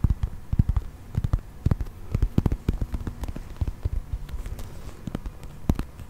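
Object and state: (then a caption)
Plastic toy figurine. A brown, textured plastic toy mammoth with cream tusks, held close to the mic, is tapped and scratched with fingertips and nails. The result is an irregular stream of short, dull, low-pitched taps with faint clicky edges over a soft scratching rustle. Each tap dies away almost at once.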